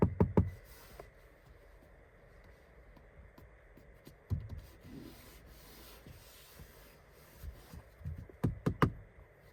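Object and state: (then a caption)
Hard plastic car door trim. Knocks on the hard plastic front door trim of a 2023 Toyota Corolla Cross 2.0 Hybrid FWD Premiere Edition give short, dull, low taps with almost no ring, in bursts at the start, around four seconds and near the end. The trim is hard everywhere apart from a slightly yielding upper section.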